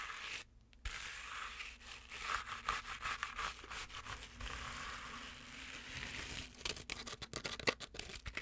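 Long nails quickly scratch and rub the fuzzy fabric of a medium stuffed penguin toy, making a bright, dry, scratchy rustle. After a brief silence near the start, the rubbing runs continuously, then breaks into sharper, rapid scratching strokes toward the end.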